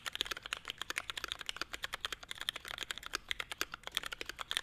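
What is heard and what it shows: A 65% mechanical keyboard with a navy case and grey and white ABS plastic keycaps is typed on continuously with the fingertips of both hands. The small, hollow-cased board gives a rapid stream of about 36 short, bright, clacky taps with almost no ring and very little low end.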